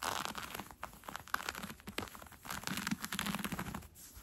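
Red-painted nails scratch along the gathered elastic waistband of brown cotton fleece sweatpants being worn. The result is a quiet, continuous, dry scratching and rustling made of many quick, crisp scrapes, with bright fabric texture.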